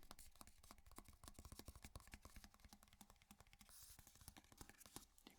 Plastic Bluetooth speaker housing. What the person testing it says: it feels solid like it sounds solid there's nothing Hollow feeling about it